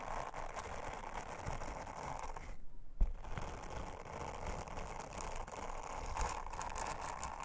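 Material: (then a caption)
Silicone. A round, flat, thin blue silicone honeycomb trivet lying on a table is rubbed and scratched with an orange silicone bristle scrubber held under long-nailed fingers. The result is a steady, dense brushing and scratching texture centered in the midrange. It drops out briefly near the three-second mark, then resumes after a sharp little knock.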